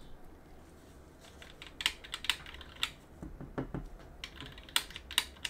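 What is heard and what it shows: A gloved hand rubs and scratches a cotton swab on a wooden stick between the exposed switches and aluminum plate of a plastic and aluminum mechanical keyboard with some keycaps removed. Soft, bright scraping is broken by short, sharp, dry clicks and ticks that die away almost instantly, over a faint low background hum.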